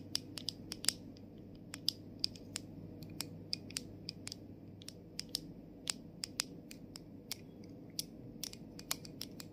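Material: Plastic.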